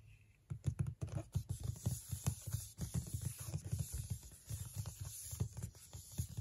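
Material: Cardboard.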